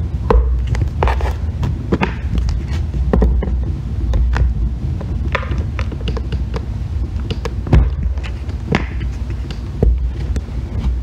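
A solid green bar of soap, held by fingers with long red nails, is carved and scraped with a metal loop tool. The result is a steady, dense run of scraping with many short, crisp clicks and shaving strokes over a heavy low rumble, with a few louder strokes standing out.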